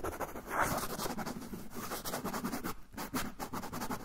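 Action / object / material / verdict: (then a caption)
scrape / kraft paper pouch / paper / none. A fingernail scratches along the folded edge of a brown kraft paper pouch held edge-on. The sound is a steady run of quick, dry, papery rasps with bright crackle on top and a soft, low rustle underneath.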